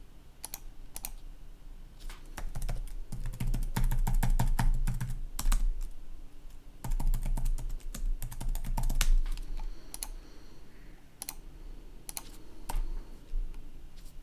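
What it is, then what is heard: Plastic laptop keyboard being typed on. Fingertips of one hand type on a black plastic laptop keyboard with a red backlight, producing quick, irregular clicks and taps in dense bursts. The typing runs busiest through the first half, pauses briefly, picks up again, then thins to scattered keystrokes over a steady low hum.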